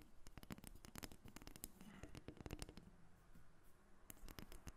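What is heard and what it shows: A solid carved dark wood dolphin figurine, about 30 cm long and resting on a glass table, is tapped and scratched with long red acrylic nails. Dense, quick, dry clicks with very short decay mix with soft scratching over a low, quiet bed, and the taps stay crisp and bright at their onsets.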